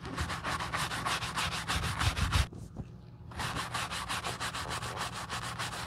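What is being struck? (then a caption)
Leather shoe scrubbed with a horsehair brush. A wooden-handled horsehair brush scrubs foam over the side of a black leather Gucci shoe resting on a towel. Quick, steady brushing strokes make a bright, hissy rubbing sound, with a brief pause in the middle before the strokes resume.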